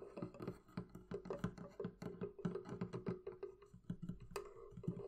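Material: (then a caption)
Wood. Fingers tap steadily on the wooden surface of a barrel chest, making a quick run of dry, hollow knocks. Each knock is low and woody and dies away almost at once, while a faint steady tone holds underneath the tapping.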